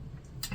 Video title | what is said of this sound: Let's Talk Bread *Beginner Tips* | if you tap on it, it should sound hollow. And if it sounds hollow, you should be good to go ahead and pull that loaf from the oven.